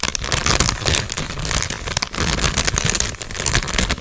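A medium sealed Cheetos chip bag made of metallized plastic film and full of snacks is held in both hands and crinkled and squeezed with the fingers. The result is a dense, continuous crackling and rustling with bright, sharp crinkles over a low rumbling undertone, and no clear pause or ring between sounds.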